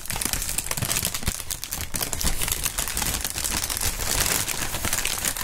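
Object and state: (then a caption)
Plastic air-cushion packaging film being crinkled. Clear polyethylene air-cushion packaging film, the air-pillow kind, is squeezed and crinkled with the fingers. It makes a steady, dense stream of crisp crinkles and sharp crackles, bright at the top with a soft low rumble underneath. The texture stays busy and unbroken throughout.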